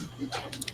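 A light piece of aerogel is tapped three times, giving short, dry ticks with a bright, high edge that die away almost at once. A faint low hum sits underneath.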